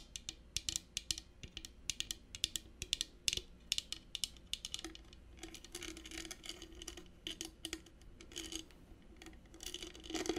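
A small hollow rigid metal mosaic clutch purse, covered in brass studs and red stone inlays, is held up while long painted nails tap and scratch across it. Sharp, bright clicks dominate the first half, then give way to softer scraping and rubbing with scattered taps. Each tap dies almost instantly.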